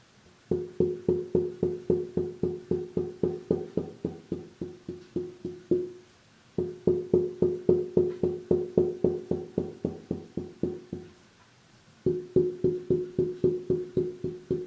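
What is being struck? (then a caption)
Thin braced wooden mandolin back plate. A thin, flat wooden mandolin back plate with glued wooden braces is held upright in one hand and tapped at several spots with a small wooden mallet-headed stick for tap tuning. Three quick runs of about 47 tonal taps ring briefly around 360 Hz, with short pauses between runs.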